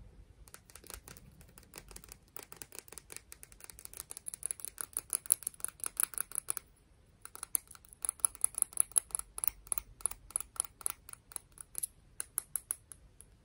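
Medium-length pink-painted fingernails scratch and tap a small, hollow, empty white spiral seashell of calcium carbonate held in both hands. Dozens of quick, dry, bright clicks come in rapid bursts over a faint scratchy hiss. A short pause falls just before the seventh second, then the clicks resume and stay sharp and brief, with almost no ring.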